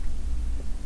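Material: Nothing is struck.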